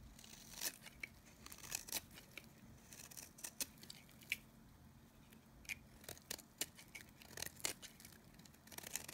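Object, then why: Bar of soap shaved with a blade. A solid oval white-cream bar of dry Nevskaya Kosmetika soap, held in the palm, is shaved with a utility knife blade. Repeated short, crisp scraping and crackling strokes come out bright and dry, with very little ring, over a faint steady low hum.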